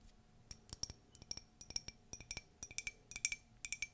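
Light, quick tapping on a ceramic Disney mug from a collection produces a string of short, bright clinks. Each tap decays almost instantly, with a ringing high tone near 2.3 kHz. The taps come in irregular clusters over about four seconds.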